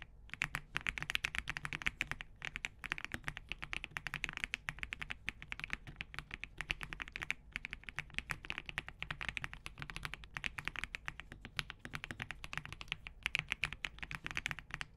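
Both hands type continuously with their fingertips on an assembled Spark67 compact mechanical keyboard with green-gradient plastic keycaps, a POM plate and Crane switches. The result is a fast, steady stream of short, bright plastic clacks centered around 2.6 kHz that die away almost instantly, with a faint low thud underneath and brief pauses near 2 and 7 seconds.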